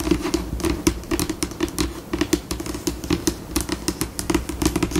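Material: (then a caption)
Laminate. Long pink acrylic nail tips tap and scurry across a flat, solid, white glossy laminate tabletop with both hands. The result is a stream of short, dry clicks over a low, soft thump, shifting between slower and faster bursts.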